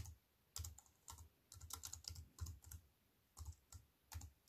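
Fingertips with long white-painted nails type on a slim wireless keyboard with a silver aluminium frame and black plastic chiclet keys resting on a wooden table. Quick bursts of key presses come with pauses between them, each press a soft low thud topped by a short, bright click that dies away almost at once.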